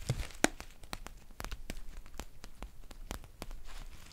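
Long painted nails scratch and crinkle a green foil tea pouch with a paper label. The result is a quiet series of sharp, bright ticks and crisp crinkles, with one louder snap near the start and a soft rustle between them.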